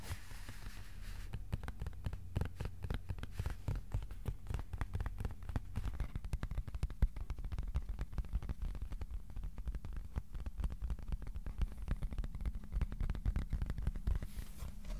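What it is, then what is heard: Cardboard sheet. Fingertips tap rapidly across the surface of a thin white cardboard board, first held upright and then laid flat. The result is a steady stream of soft, dull, low tapping thuds with very short decay and little brightness, lasting the whole clip.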